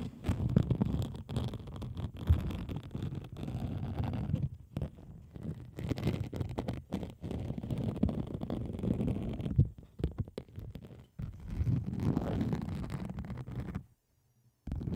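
A pink plastic bubble wrap sheet covering a microphone is scratched with long acrylic nails as the camera moves closer to the surface. It makes a dense, muffled, low rumbling scrape with brief pauses. The sound cuts to near silence just before the end.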